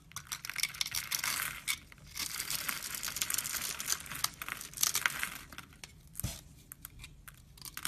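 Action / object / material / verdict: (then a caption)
scrape / bar of laundry soap cut with a knife / soap / none. A solid rectangular brown laundry soap bar, held in both hands, is scraped and cut with a red-handled knife. Dry, crisp scraping and crunchy shaving sounds come in bursts, mostly bright with little low end, with short pauses and a sharper scrape near the end.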